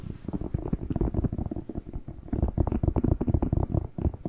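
Fingertips tap and rub the glossy skin of a whole, fresh, hollow, hand-sized red bell pepper held close to the mic. The result is a rapid, dense patter of soft, dull, low thumps with a muffled, hollow body, each one very short with almost no ring, over a faint scratchy rubbing.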